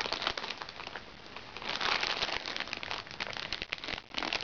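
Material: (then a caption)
Plastic. Long nails scratch and pinch a small, crinkly recycled plastic makeup bag held upright. The result is a dense, steady stream of bright crinkling and crackling with almost no low end, swelling louder in the middle and again near the end.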